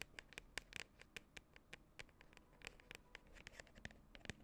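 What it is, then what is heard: Plastic cosmetic tub. A medium cylindrical "Scoop Party" cosmetic tub, likely hollow plastic, with a white lid and printed label, is held in both hands and scratched and tapped on its side with long acrylic nails. About 24 quick, dry, bright clicks and scratches sound over quiet background hiss, each dying away almost instantly with a light hollow tone near 1.8 kHz.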